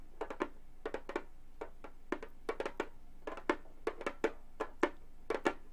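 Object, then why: Synthetic-head frame drum tapped with metal nails. Fast tapping with long gold metal claw nails on a hollow frame drum with a synthetic head, in quick clusters of about 23 separate hits. Each tap is a short, dry knock with a hollow tone around 355 Hz and a slight bright click. It dies away almost instantly at a fairly quiet level.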